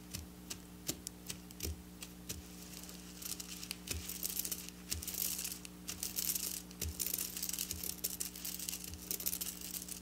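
Long black natural nails scratch and trace across a flat piece of silver sequin fabric, with plastic sequins sewn in rows, lying on a table. The scratching makes a bright, crinkly rustle of quick ticks and clicks that grows busier in the second half, over a steady low hum.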